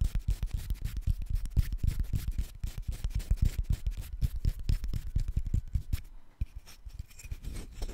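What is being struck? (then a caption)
Paper banknote. A single thin, flexible paper banknote is held in both hands close to the microphone while fingertips rub, crinkle and fold it. The clip is a quick, irregular run of soft, low, thumping crinkles and rubs with brief bright rustling edges. Near the end the handling quiets into lighter, sparser rustles.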